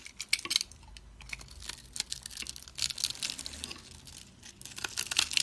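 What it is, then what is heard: Dry soap bar, crunchy. A utility blade scrapes small cubes off a dry, solid oval teal soap bar held in the hand and scored into a grid. Crisp, bright crunches and scratchy scrapes come in quick clusters of sharp clicks, almost all high-pitched with very little low end. Each crunch stops dead with no ring.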